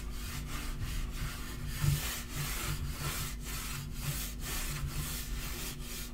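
A palm and fingertips rub and sweep across the flat surface of a dark wood-grain laminate portable table top. The result is a run of soft, breathy swishes in steady back-and-forth strokes with brief pauses between them, over a faint constant low hum.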